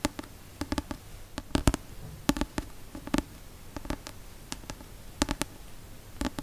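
Fingertips and nails tap the card cover of a paperback novel held upright. An irregular series of quick, dry taps, some in close pairs, each with a dull low thud and a faint bright click from the nails, dies away almost at once over a quiet background.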